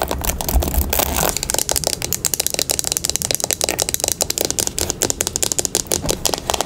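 A teal plastic paddle hairbrush with black bristles is turned over in the hands while long pink nails tap and scratch both the bristles and the plastic back. It opens with a continuous scratchy rustle over a faint low rumble, then breaks into a fast, steady run of sharp, bright taps that each die away almost at once.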